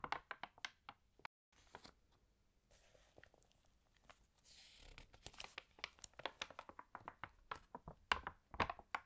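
Hands turn the stiff, wavy pages of an open, water-damaged paper fashion magazine and flatten them with fingertips and nails. The result is quiet, irregular, sharp crinkles and dry clicks, with a brief silence early on and a soft hissing rustle midway, growing denser and louder toward the end.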